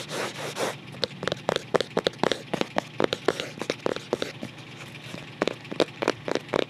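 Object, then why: Paper-covered cardboard photo album cover. Fingertips scratch the flat back cover of a closed white photo album made of paper-covered cardboard, giving a brief, bright, rough scraping at the start. A long series of sharp, dry taps follows, each dying away almost instantly.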